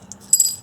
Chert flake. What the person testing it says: it rings just like like like a good piece of metal so it's a real good sign it's either heat-treated or really high-grade material